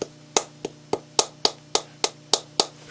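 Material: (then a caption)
Lacquered wood. An antique Japanese lacquer bowl of lathe-turned wood, 60 to 70 years old, is tapped repeatedly, giving about ten short, dry knocks that die away almost at once. Its tone is lower than a modern plastic bowl's, which marks it as genuine rather than a modern reproduction. A faint steady hum runs underneath.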